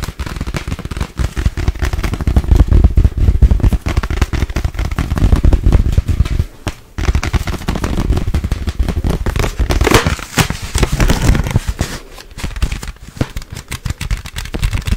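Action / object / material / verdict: tap / small plastic zip bag / plastic / none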